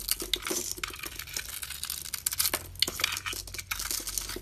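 A box-cutter blade shaves thin curls off a solid, hand-sized, oval shimmering blue Dalan soap bar held in the palm, using scraping strokes. The result is a dense run of bright, dry, crinkly scrapes and crackles with no ring, and very little low end.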